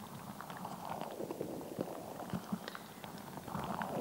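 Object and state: Rubber water-bead squishy ball.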